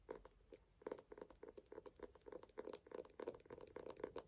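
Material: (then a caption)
Cardboard. A small, ornate hardcover book with a burgundy and gold embossed cover, held closed in both hands, is tapped on its front cover with fingertips and nails. Quick, uneven runs of soft, dry taps carry a muted hollow tone around 430 Hz, and each tap dies away almost at once.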